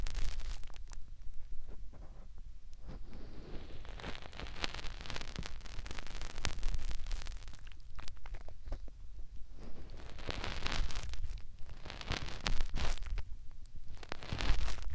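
Fingertips rub and scratch inside and around a soft, flexible white silicone ear mounted on a white plastic binaural microphone housing. Close, crackly rustling and scratching come in bursts over a deep low rumble, with brighter scraping swells in places.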